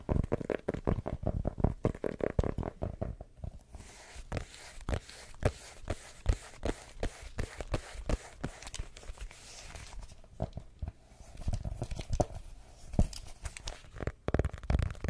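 A small, closed, solid dark blue hardcover notebook is held in both hands close to the mic while long nails tap and scratch fast across its cover. Rapid, dull, low-heavy taps come in dense bursts, with softer scratchy passages between them and very little brightness. Each tap dies away almost instantly.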